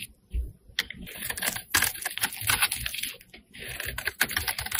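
A flat metal blade scrapes across the face of a solid pink rectangular bar of soap held in the hand. Quick, crisp scraping strokes come one after another with a bright, dry texture and almost no ring, alongside faint low thumps.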